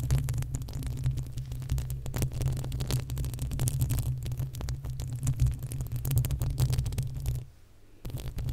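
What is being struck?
Metal mesh microphone grille.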